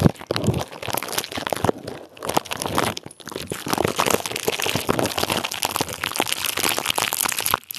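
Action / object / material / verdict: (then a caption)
scrape / plastic bubble wrap / plastic / none. Clear plastic bubble wrap wrapped around a microphone is squeezed and crinkled with the fingertips of both hands. It makes a dense, continuous run of bright crackling and crunching crinkles with sharp clicks, broken by brief quieter dips near two and three seconds.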